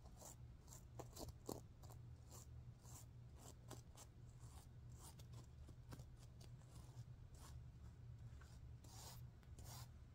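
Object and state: Sequin pillow.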